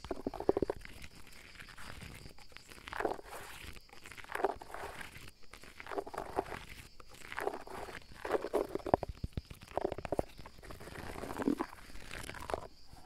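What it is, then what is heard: Mossy fallen log, scratched and tapped. Fingertips and nails scratch and tap the moss and bark of a large, solid fallen tree log, with the microphone held close by. Soft, dry rustling scrapes come in repeated bursts with small crackly taps, mostly in the low-mid range. A faint steady high hiss runs underneath.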